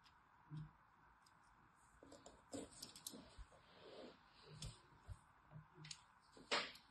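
A thin needle tool scratches a crosshatch pattern into a handheld solid orange striped bar of soap. About nine short, dry, bright scraping strokes stand out over a faint steady hiss, with quiet gaps between them.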